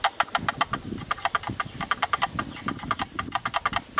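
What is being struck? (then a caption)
Plastic lens hood tapped with thin sticks. Two thin yellow sticks rapidly tap and rattle against the inner walls and rim of a hollow, black plastic rectangular camera lens hood. About 27 quick, dry clicks with a hollow plastic ring near 1.4 kHz and bright edges die away almost instantly, over a faint low rumble between them.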